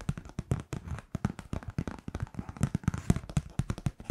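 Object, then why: Kraft paper greeting card. Long painted nails tap and scratch across the surface of a flat kraft-paper Merry Christmas card printed with a heart wreath. The result is a rapid, irregular stream of short, dry clicks and scrapes with a low, dull body and almost no ring.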